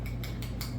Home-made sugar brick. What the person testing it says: when you ping it it sounds like a brick um and it's solid